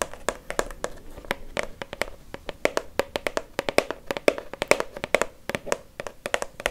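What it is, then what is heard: Plastic shower gel bottle tapped with fingernails. Long fake nails tap rapidly and steadily on a dark blue Nivea Men plastic shower gel bottle, about 20 cm tall and hollow. Each tap is a short, crisp click with a hollow tone around 580 Hz that dies away almost at once.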